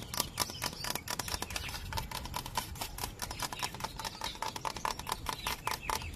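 A thick, hollow, dry bamboo stalk is tapped quickly with fingertips and nails along its length. The result is a dense run of short, dry clicks and knocks with a faint hollow tone near 965 Hz. Each tap dies away almost at once, with bright crisp edges.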